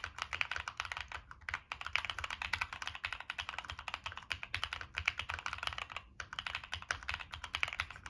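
Fingertips type continuously on a Monsgeek M1 mechanical keyboard with a black aluminum case, plastic keycaps and NK Cream switches. A dense, steady stream of short, bright clacks centers around 2.3 kHz, each dying away almost instantly, with a brief pause near the six-second mark.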